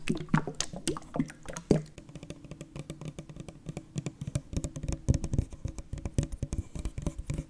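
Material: Plastic.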